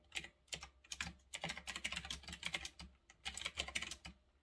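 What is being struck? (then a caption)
Mechanical keyboard with round plastic keycaps. Fingertips type on a retro typewriter-style mechanical keyboard with round, backlit plastic keycaps, resting on a desk. Quick bursts of bright, crisp clicks with very short decay come in uneven runs, broken by brief pauses, over a faint low hum.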